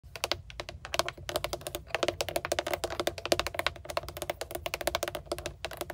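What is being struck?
Hard plastic steering wheel airbag cover with trim ring.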